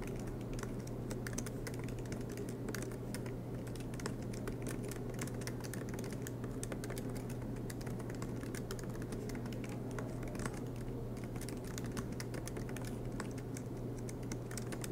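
Fingertips of both hands type continuously on the black plastic low-profile keys of a silver MacBook Pro, its aluminum chassis resting on a desk mat. Dense, rapid, bright key clicks patter at an even level throughout, over a steady low hum.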